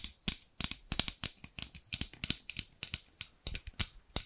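Long pink nails tap the amber plastic handles of a large pair of scissors with steel blades, which are held by the blades. About two dozen quick, sharp clicks come in an uneven rhythm. Each is bright and dry with almost no ring or low end.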